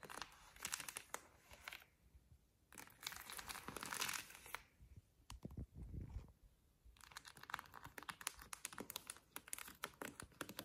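Long lilac nails scratch and tap across the cardboard spines of a row of vinyl LPs in their sleeves on a shelf. Bursts of bright, crinkly scratching alternate with dense runs of quick, dry taps, separated by short quiet gaps. Around the middle, a few duller, lower thumps stand out.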